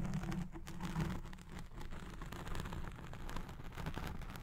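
Long nails scratch the top and side of a black foam windscreen on a recording Blue Yeti Pro microphone. The result is a dense, continuous muffled scratching and rustling, heavy in the low end with a faint hum around 150 Hz and little high-frequency content.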